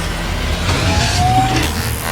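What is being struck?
Nothing is struck.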